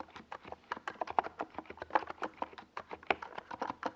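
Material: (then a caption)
Plastic. Fingertips type continuously on a NiZ Plum Atom 68, a small 68-key mechanical keyboard with a white plastic case and purple and yellow plastic Domikey Gas Attack SA keycaps, resting on a desk pad. A steady run of short, crisp plastic clacks with a mid-range body and a bright edge, each dying away almost instantly, about 25 strokes in four seconds.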